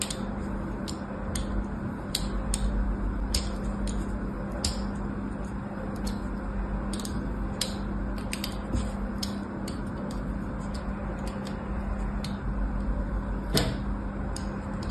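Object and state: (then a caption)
Bar soap. A thin blade scores diagonal lines into the surface of a solid white bar of soap lying on a cloth and held down by fingers. Brief, sharp scraping clicks with a bright edge repeat irregularly over a steady low hum and soft, dense noise.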